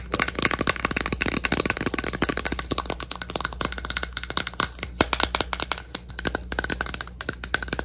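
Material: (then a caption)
Plastic. A plastic bottle is tapped rapidly and continuously in a dense run of short, dry clicks with a bright, crisp texture. A faint steady low hum sits underneath throughout.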